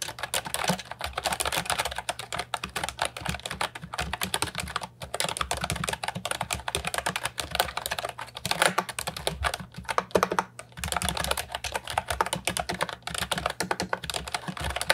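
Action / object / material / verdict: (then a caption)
tap / plastic keyboard with round keycaps / plastic / none. Fingertips type steadily on a compact, hollow plastic Ajazz 308I keyboard with round, typewriter-style retro keycaps. The result is a dense stream of short, bright plastic clacks with almost no ring, briefly pausing around five and ten seconds before the typing resumes.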